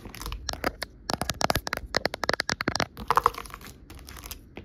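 Long nails tap and scratch across a white plastic sheet of many small hollow half-dome bumpers. The result is a quick, uneven run of sharp, dry plastic clicks and crackles, with brief scratchy rasps between the taps and almost no ring after each hit.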